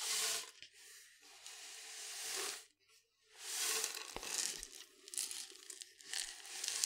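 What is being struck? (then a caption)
Cardboard canister. Long fingernails scratch and tap along the side of a tall, hollow, printed cardboard powder canister with a yellow plastic lid. Bright, hissy scraping comes in sweeping bursts with a brief silence midway, and a few quick dry taps cut through the rasp.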